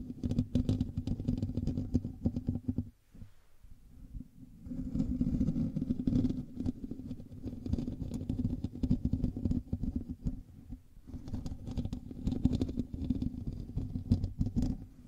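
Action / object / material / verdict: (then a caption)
scrape / metal mesh microphone grille / metal mesh / none. Fingertips and nails of both hands scratch the hollow metal mesh grille of a black USB microphone, producing a dense, rapid, rumbling scrape heavy in the low end. The scratching drops to a quiet, sparse patch around three to four and a half seconds and dips again briefly near eleven seconds before resuming at full intensity.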